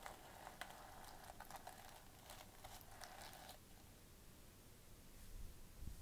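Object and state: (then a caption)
Sequin fabric pouch being scratched. Long painted fingernails scratch and rub a flat fabric clutch pouch covered in gold plastic sequins as it lies on a table, while metal bangles on the other wrist are held still. Dense, crisp rustling with bright little clicks fills the first three and a half seconds, then fades to a soft, quieter scraping over a low rumble.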